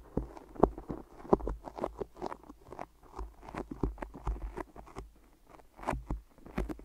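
Long nails and fingertips grip and tap on microphone ears wrapped in white adhesive tape, producing a quiet, irregular sticky patter. Soft, muffled taps and tacky peeling crackles come in uneven clusters, with a dull low-mid body and little bright content.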